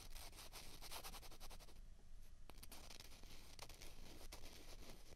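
Two small hollow white plastic ping pong balls of the same kind are held in both hands and rubbed and scraped against each other. The result is a steady, quiet, dry scratching and rubbing texture, dotted with short, bright clicks and squeaks over a low rumble.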